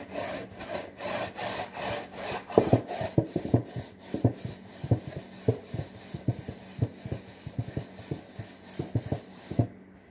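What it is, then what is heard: Cardboard box, scratched. Fingertips and nails scratch across the front and top edge of a medium-size, hollow, printed cardboard saltine cracker box. Soft, rhythmic rubbing strokes give way to a run of sharp, dry scratches and taps with a hollow, woody knock.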